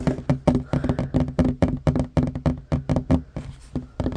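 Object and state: Wooden table.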